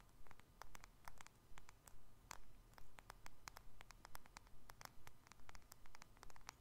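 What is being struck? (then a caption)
Smartphone with glass face and metal frame. Fingertips and nails tap on the glass surface and sides of a small, solid black smartphone with a glass face and silver metal frame, held in both hands. Quick, bright clicks come in short clusters at a steady rhythm over a quiet, low background hum.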